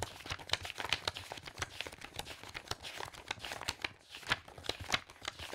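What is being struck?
Stack of loose paper pages.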